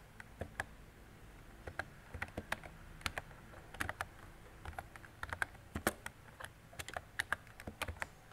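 Fingertips with long decorated nails type on a mint-green retro mechanical keyboard with round plastic keycaps and a hollow body. About 33 quick, irregular keystrokes sound as crisp, clacky clicks centered around 1.5 kHz with a bright edge. Each dies away almost instantly over a soft, steady low background.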